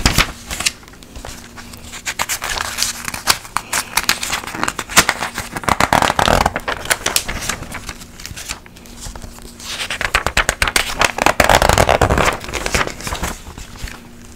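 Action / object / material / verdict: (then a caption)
scrape / glossy paper magazine / glossy paper / none. A large glossy paper magazine is held upright while its thin pages are lifted and turned by fingertips and long nails. The result is crisp, crackly page flipping made of rapid, uneven paper ticks and rustles, with two louder, fuller swells of turning around the middle and near the end. A faint low hum sits underneath.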